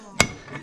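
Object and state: Fully seated bearing in engine case.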